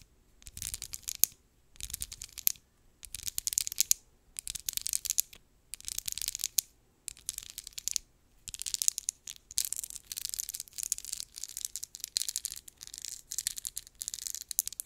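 Long acrylic nails quickly scratch and tap a small, slim, filled lip gloss tube with a textured, faceted brownish-pink plastic surface held in the hands. Bright, crisp, dry scratching comes in short rapid bursts separated by brief pauses, then runs almost continuously through the second half. There is almost no low end, and each tick dies away instantly.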